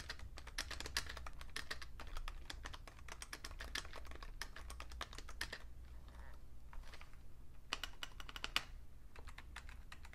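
Fingertips type steadily on a vintage beige plastic full-size Fujitsu Siemens keyboard with a hollow case, including keys on the numpad. Rapid, bright, short clacky taps run over a steady low hum, with a brief sparser stretch around six to seven and a half seconds before the typing picks back up.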